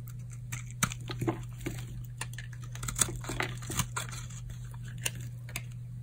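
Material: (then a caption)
Soap. A metal blade shaves flakes off a solid orange bar of hard, dried soap held in the palm. The result is a series of short, dry, crisp scrapes and cuts with bright crackling edges, spaced irregularly over a steady low hum.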